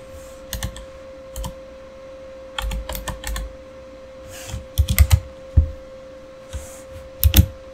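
Fingertips type on a backlit Razer mechanical keyboard with plastic keycaps, making irregular clusters of sharp, short clicks and clacks with little ring. The keystrokes come in bursts separated by pauses, over a faint steady hum.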